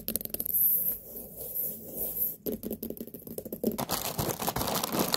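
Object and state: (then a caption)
Large white pumpkin. Long nails tap and scratch the rind of a large, whole white pumpkin with a sticker label. Quick, dry taps and scratchy scraping come in irregular bursts, with a bright crackle on top and a dull thud from the solid fruit beneath.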